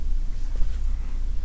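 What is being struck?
Nothing is struck.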